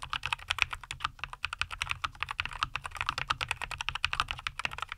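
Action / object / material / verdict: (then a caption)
tap / mechanical keyboard with plastic keycaps / plastic / none. Both hands type continuously with their fingertips on a NuPhy Air75 V2, a compact 75% mechanical keyboard with a white case, green and white plastic keycaps and linear Cowberry switches, resting on a wooden desk. About 40 quick keystrokes give a steady, bright clacking: each is a short, dry tap centered around 2.5 kHz that dies away almost instantly, over a faint low rumble.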